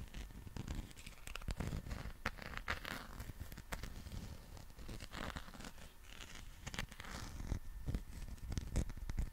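A soft rubber dinosaur figure with a bumpy skin texture is scratched with fingernails and squeezed in both hands. Dense, quick scratching and rubbery rustling scrapes run throughout, with brief bright crackles over low, muffled handling thumps.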